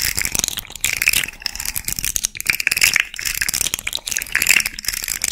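A small rainbow fidget slug toy made of hollow, jointed hard-plastic segments is held near the mic while long red fingernails scratch and tap along its segments and flex its joints. The result is a dense, bright, ratcheting plastic rattle of quick clicks and scrapes with almost no low end.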